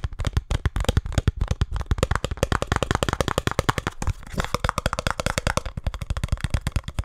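A small printed cardboard speed cube box is held in both hands and tapped and scratched fast with fingertips and nails. The result is a rapid, dense run of dry, hollow, low thuds with brief scratchy rasps and no ring. A faint steady tone sits underneath in the second half.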